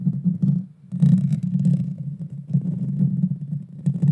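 Long dark fingernails scratch the hollow metal mesh grille of a Blue Yeti Nano microphone while the hands partly cover it. The result is a dense, low, rumbling scrape centered around 190 Hz, with scattered bright crackles on top. It runs almost continuously, except for a brief quiet dip just before the one-second mark.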